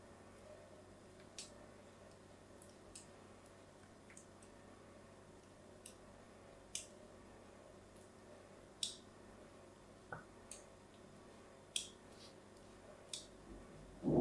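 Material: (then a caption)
Soap. A small blade is scored into the surface of a solid white bar of soap held in one hand with long yellow-painted nails, making cutting and scratching sounds. About ten short, bright clicks and scrapes stand out over a quiet, steady background hiss, with a louder burst at the very end.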